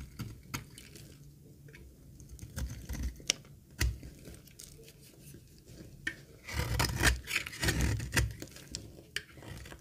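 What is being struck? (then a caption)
Laundry soap bar shaved with a blade. A solid, dry green laundry soap bar held in the hand is shaved with a metal utility blade, peeling off curls. Crisp, dry scraping strokes and sharp clicks come at an irregular pace, building into a denser, louder stretch of bright, crumbly shaving near the end.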